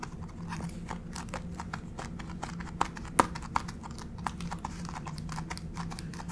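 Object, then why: Laminate plank floor tapped with acrylic nails. Long pink acrylic fake nails on both hands tap and scratch a flat gray wood-grain laminate plank floor. A quick, irregular run of light, dry clicks and brief scratches sits over a steady low hum, with a few sharper, louder taps standing out around the middle of the clip.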